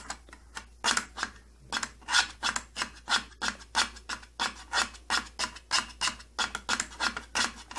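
Fingertips and nails scratch and rub back and forth across the thin side panel of an opened purple plastic tattoo kit case. The result is a steady run of dry, bright rasping strokes with short, quick-fading bursts and almost no low end.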